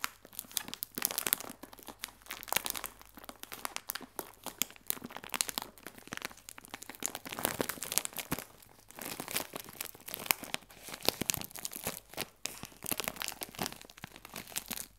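A clear plastic film bag full of biscuits is scratched and tapped on the film with fingernails. The result is 15 seconds of dense, bright crinkling and crackling with sharp, quickly fading clicks and almost no low end.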